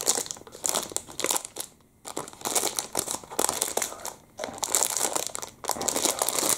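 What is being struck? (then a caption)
Plastic food wrapper with muffin inside. Fingertips squeeze and crumple a small, soft, clear crinkly plastic packet with a printed chocolate-muffin label, the muffin still inside, held close in both hands. Dense, bright crinkling comes in bursts separated by brief quiet gaps, with almost no low end.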